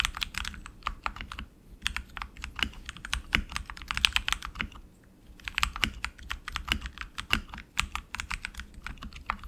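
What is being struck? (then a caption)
Mechanical keyboard with plastic keycaps and aluminum frame. Both hands type quickly with their fingertips on an RGB-lit tenkeyless mechanical keyboard with plastic keycaps on lubed tactile switches in an aluminum frame, resting on a desk mat. The result is a fast, steady patter of short, bright, crisp key taps with a soft low thud underneath, broken by brief pauses between bursts of typing.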